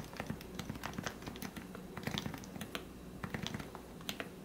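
Fingertips tap the keys of a lubricated plastic Leopold FC660C Topre keyboard with 45g switches. Each press gives a soft, muted thock with a short bright click on top. The keystrokes come in a quick, steady typing rhythm in a quiet small room.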